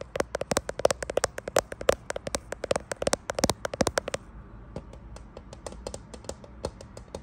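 Fingernails tap quickly on the glass back of a grey iPhone Pro-style smartphone with a metal frame, possibly in a thin clear case, near the camera bump while the phone is held up to a mirror. Rapid, sharp clicky taps with a faint mid-pitched tick around 550 Hz fill the first four seconds, then continue softer and more spaced out to the end.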